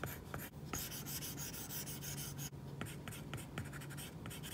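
A plastic stylus tip draws repeated short strokes across an iPad's glass screen fitted with a matte plastic screen protector, a flat, solid surface. The strokes make a bright, papery scratching with a steady low hum underneath, pausing briefly twice.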